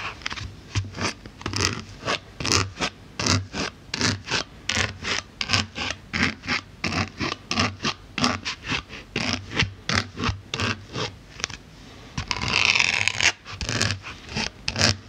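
A pink-handled needle tool pokes and scratches the surface of a solid white polyethylene foam block held in the other hand. Dozens of short, bright, crackly scratches come in a quick, steady rhythm, with a longer continuous scrape near the end. Each scratch is dry and stops almost at once.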